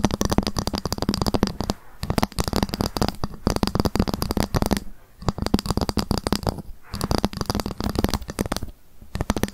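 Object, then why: Ruler tapped with long fingernails. A ruler is tapped rapidly with long fingernails, sometimes scratched, in dense bursts of quick, clicky taps separated by brief pauses. The taps have a low, hollow body around 200 Hz with a faint high ring, and each one decays almost instantly.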